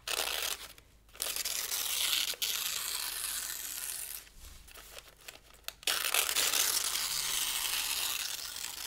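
Thin pale-green paper sheets are held down by one hand while the fingers of the other crumple and tear them. Bright, dense crinkling and ripping comes in bursts, broken by a short gap near the one-second mark and a quieter stretch of scattered crackles. It then ends in a long, loud run of tearing.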